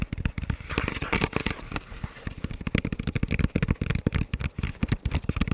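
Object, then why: Composite ballistic helmet shell. Fingertips and nails tap and scratch the sides of a hollow, dark camo composite ballistic helmet shell with a velcro strip. A rapid series of short, dull, low thuds with almost no ring, with a brief scratchy rasp between the taps early on.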